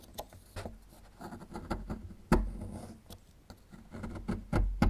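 A small metal chisel scrapes and picks at a small, solid plaster fossil excavation block, breaking off chunks of plaster. Irregular dry scratches and dull taps carry mostly low, thuddy weight with brief crunchy clicks, and a few louder knocks stand out near the end. Each sound dies away quickly with almost no ring.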